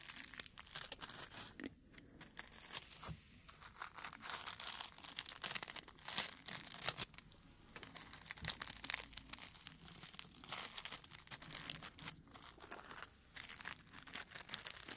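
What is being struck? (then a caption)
Dried rose flower. A single dried dark red rose head on its stem is held close to the microphone while fingertips rub and crinkle its brittle petals. The result is a continuous, bright, dry rustling and crackling with dense bursts of crisp crunches and little low end.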